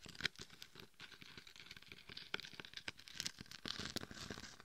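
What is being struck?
Mannequin head coated in coarse glitter.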